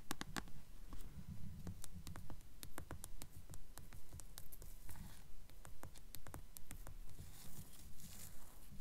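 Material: Paper.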